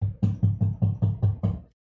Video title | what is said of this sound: Navigavia: che ci sia o non ci sia, noi non manchiamo mai. (Parte 2 di 2) | Questo è il suono di una scatola vuota.